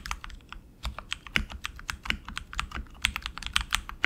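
Both hands type continuously with their fingertips on a tenkeyless RGB mechanical keyboard with tactile switches, plastic keycaps and an aluminum frame. A rapid, irregular stream of short, dry, bright clicks and clacks centered around 2 kHz rises above a soft low thud. Each keystroke cuts off almost instantly.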